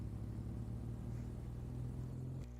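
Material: Nothing is struck.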